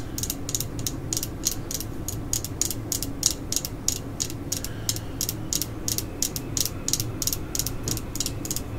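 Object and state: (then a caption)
Plastic screwdriver handle. Long glittery acrylic nails tap and scratch a solid black plastic screwdriver handle with a red end cap, held in hand, while other screwdrivers lie still nearby. A quick, steady series of short, bright clicks with a faint scratchy texture rises over a low, soft background rumble.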